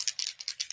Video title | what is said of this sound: LIVE How To: Airbrush + Starter Kit | If you don't hear the BB immediately, shake it up for a good 30 seconds.